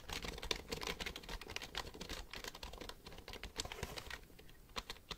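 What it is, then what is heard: Plastic computer keyboard. Fingertips type on the keys of a black plastic computer keyboard held upright. A rapid, quiet stream of short, bright plastic clicks and taps plays throughout, each dying away almost at once.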